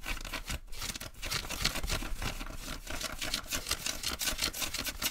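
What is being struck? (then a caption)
Denim jeans fabric. Fingertips and nails quickly scratch and rub blue denim jeans being worn, at the hip and pocket area. A continuous, dense, bright scratchy rasp is heard, with rapid rhythmic strokes and brief dips throughout.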